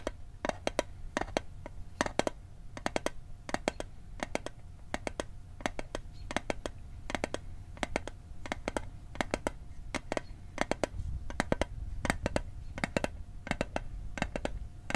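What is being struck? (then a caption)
Small metal mint tin. A small, rectangular, hollow metal Altoids mint tin is tapped quickly with fingertips and nails over the microphone, producing rapid clusters of short, dry clicks that die away almost instantly. The taps carry a faint mid-pitched metallic tone and a bright edge, over a steady low background rumble.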